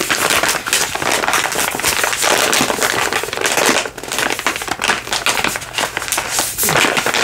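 A soft plastic baby-wipes pack is crinkled and tapped with fingertips and nails. The result is a steady, dense run of bright crinkling and crackling with quick ticks and almost no low end, easing briefly near the middle before picking back up.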